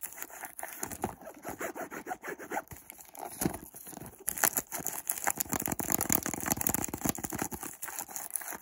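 A hollow white cardboard perfume box is held close while fingertips and nails scratch and tap along its edges and sides. Dry, papery scratching mixes with quick, short taps that become busier and brighter in the second half.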